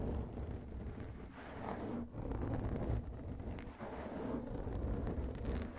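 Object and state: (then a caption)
Foam microphone windscreen being scratched. Fingertips of both hands scratch and rub the surface of a soft black foam microphone windscreen. The result is a dense, muffled, rumbling scratching, heavy in the low end, with rises and brief dips in loudness.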